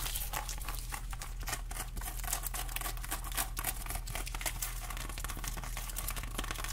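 Long glittery acrylic nails scratch across the rough, scaly rind of a whole fresh pineapple in close view. A dense, continuous run of bright, crackly scratches and crinkles sits over a steady low hum.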